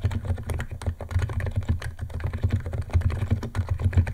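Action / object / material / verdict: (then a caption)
tap / plastic keyboard keys / plastic / none. Fingertips of both hands type fast on a white compact 68-key Niz ATOM 68 keyboard with electro-capacitive switches, white plastic keycaps and a plastic case, resting on a wooden desk. A dense, steady run of short, deep, muted key presses clatters with little high sparkle, each one dying away almost instantly.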